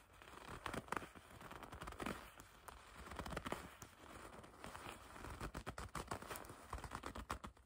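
A dark, soft leather jacket bunched in the hands is gripped and scratched by long red nails. Dense crackly squeaks, crinkles and sharp rustling snaps come in quick uneven bursts over a low, quiet rumble.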